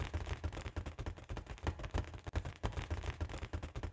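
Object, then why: Inflated foil balloon. Long nails tap and scratch the sides of a large, hollow, inflated balloon with a holographic foil pattern. A quick, uneven run of soft taps, about three per second, is mixed with scratchy rustling. Each tap gives a short, low, hollow thump around 80 Hz that fades almost at once.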